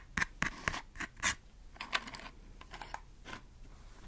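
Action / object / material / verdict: scrape / small cardboard matchbox / cardboard / none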